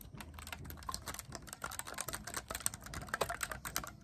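Fingertips grip and rapidly press and tap the silver metal keys of a black clarinet, its body wood or plastic, held upright as a hollow tube close by. A fast, continuous stream of short, bright clicks and soft taps is heard, each dying away almost instantly over a low, faint rumble.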